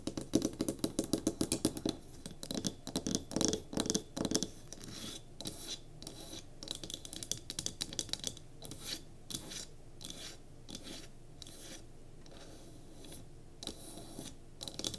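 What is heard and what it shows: Long nails tap and scratch the top edges and sides of a small solid pine cube candle holder resting on a table. A fast run of crisp, dry taps with a woody body fills the first few seconds, then gives way to lighter, bright scratching strokes with occasional taps.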